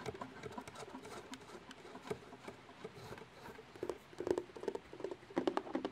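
Long painted nails tap and scratch a medium, flat, white cardboard mailer box that is closed, hollow and held up near the microphone. Soft, irregular patter of quick taps and dry scratches with a hollow, boxy midrange tone, growing a little louder and denser toward the end. Each tap dies away almost at once.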